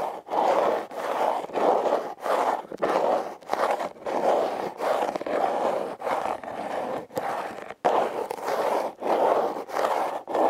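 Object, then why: Corrugated cardboard box. Long nails scratch a red, heart-shaped, hollow corrugated cardboard box while fingers grip and rub its ridges. About thirteen separate rasping, papery scrape strokes come at an uneven, steady pace, each one a dense, mid-pitched scratch with almost no low rumble. Each stroke is separated by brief near-silent breaks.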